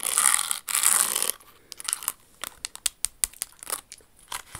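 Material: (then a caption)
Crystal. Very long acrylic nails scratch and tap along a hollow, empty red Jimmy Choo stiletto pump held close in the hands. The pump is covered in small glitter-like crystals, with a fabric flower ornament on its pointed toe and a smooth red inner lining. Two loud bursts of bright, hissy scratching open the clip, followed by an irregular run of sharp, bright clicks and short scrapes that die away almost instantly.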